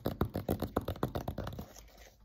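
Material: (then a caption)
Plastic. Fingertips and nails scratch and tap the drawn face of a flat, rectangular, letter-size dry-erase board, a solid thin panel with EXPO marker drawing on its surface, held upright in both hands. About fourteen quick, dry scratchy taps come in a fast run, low and dull with almost no ring. They gradually soften and fade out near the end.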